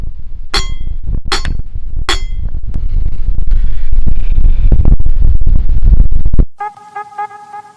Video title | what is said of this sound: Ambe Hatvij - Kanchan waterfall - Junnar | इथे तुम्ही एक छोटा दगड घेतला आणि हा एक त्याच्यावर आदळून बघितला तर एक आवाज येतो